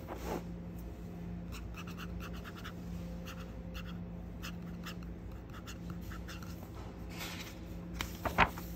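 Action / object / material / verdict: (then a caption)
scrape / hardcover paper dictionary / paper / none. A fingertip and nail trace and scratch across the glossy laminated cover of a closed hardcover children's dictionary, "The Nick Dictionary," then across its printed endpaper pages once it is opened. Soft, dry scratching strokes repeat over a steady low hum. A sharper, louder scrape comes near the end.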